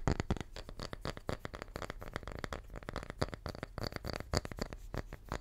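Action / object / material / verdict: tap / wooden tree slice / wood / none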